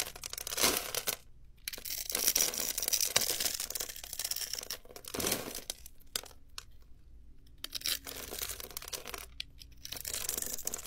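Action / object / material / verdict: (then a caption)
scrape / scored soap bar scraped with a blade / soap / none. A metal utility-knife blade scrapes and shaves across a hand-sized, solid light-blue soap bar held in one hand and pre-scored into a grid of small cubes. Bright, crisp crunching and crackling comes in uneven bursts with short quiet gaps. The little soap cubes crumble off onto a marble surface.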